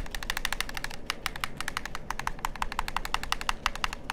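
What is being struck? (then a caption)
Plastic game controller. Fingertips and nails tap and click the buttons and shell of a hollow black plastic PlayStation-style gamepad held near the ear. A rapid, irregular run of sharp, dry clicks with bright, crisp tops rides over a steady low rumble, each click dying away almost instantly.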